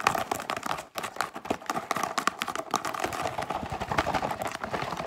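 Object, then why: Cardboard cracker box. Long pink nails tap and scratch fast along the sides of a yellow Wheat Thins cardboard cracker box with an open top and an inner bag. The result is a dense, unbroken run of quick, dry taps and scrapes with a papery crackle and a hollow midrange tone near 800 Hz. It pauses only briefly just before the one-second mark.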